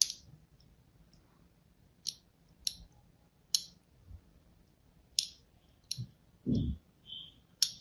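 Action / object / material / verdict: scrape / bar of soap scored with a thin blade / soap / none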